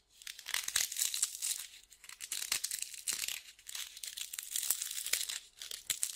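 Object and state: Sandpaper sheet being crumpled.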